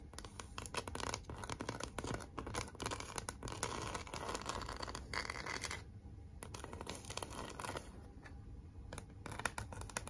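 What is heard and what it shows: Long acrylic nails scratch across a large, flat pink cardboard "Be Mine" heart sign with glitter lettering, making dense, rapid, dry scratching with a bright, papery rasp. A hand then rubs the sign flat-palmed, and the clip ends in a softer, broad rubbing swish.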